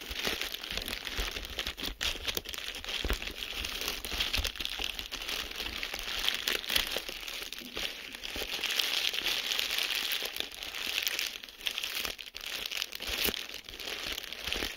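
A large sheet of clear plastic bubble wrap is held and squeezed between both hands with the fingertips. The air-filled bubbles crinkle and pop in a dense, bright, crackling texture that runs steadily throughout.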